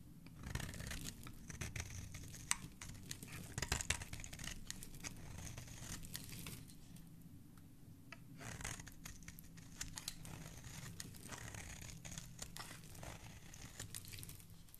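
A metal blade scrapes and shaves the edge and face of a solid green, palm-sized bar of soap held in the fingers, and soap crumbs fall off. Quiet, crisp, scratchy shaving strokes with bright, papery edges repeat over a low rumble, easing briefly midway before resuming.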